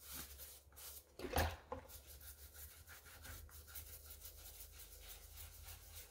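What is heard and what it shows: A gloved hand scrubs the wet white rubber/foam sole and edge of a light pink sneaker with a wooden-handled brush above soapy water. Steady, raspy bristle rubbing runs throughout, with a low hum underneath. A couple of louder knocks come near the start.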